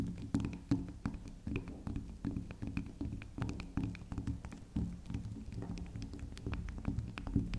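Long acrylic nails tap and scratch a small, round, solid pink spiral soap as it is turned on a table. The result is a steady run of soft, dull, low-pitched taps mixed with light scratching, with quick bright clicks over them.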